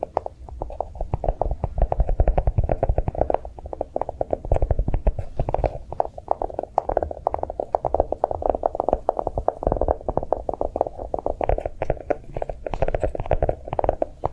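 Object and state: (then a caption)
Chocolate-shaped notebook. A notebook made to look like chocolate is tapped quickly with fast, soft taps. The many short, dull knocks follow one another almost continuously, with a muffled low-mid tone and very little ring.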